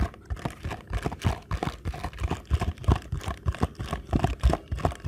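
Fingertips tap quickly along the narrow printed side of a small paperboard box held edge-on. The result is a rapid, uneven run of soft, dull, low thuds with a faint papery crinkle, each dying away almost instantly.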